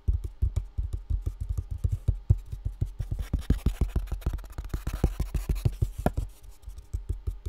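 A full box with contents inside is tapped rapidly and continuously. Each tap gives a short, dull, low thud that dies away almost at once, forming a steady, muffled patter with no bright ring.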